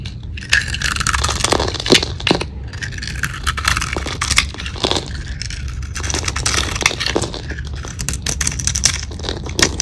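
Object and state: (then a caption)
Dry soap bar. A metal knife blade held at the fingertips shaves, cuts and scrapes a small, solid, hand-held bar of dry Russian soap, painted purple with gold glitter on the surface and cream-white inside. Dense, bright, crunchy crackles and scraping rasps come as flakes break off, with sharper snaps standing out over a steady low rumble.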